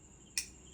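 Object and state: Metal spoon.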